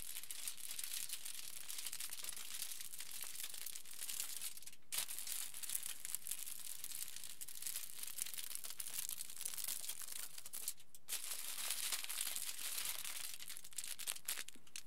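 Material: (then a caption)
Aluminium foil. Fingertips scratch a crinkled aluminium foil sheet lying flat, and hands press flat against its surface. The result is a steady, quiet stream of dense, bright crinkling and crackling, with brief pauses near the 5 and 11 second marks.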